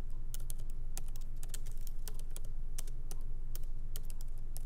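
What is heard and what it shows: Light, fast typing and tapping with the fingertips of both hands on a MacBook Pro laptop keyboard, its small plastic keycaps set in an aluminum body resting on a wooden desk. Quick, bright clicks patter in an uneven rhythm over a steady low hum.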